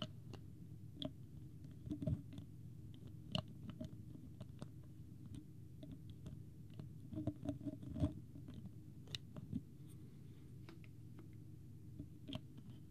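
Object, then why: Plastic water bottle cap. Fingertips and nails tap on the plastic cap of a small, clear, partly full plastic water bottle with a green label, held in both hands. Quiet, sharp clicks and light scratchy taps come at irregular intervals over a soft low background rumble, each with a brief bright edge. The bottle is moved near the microphone at the end.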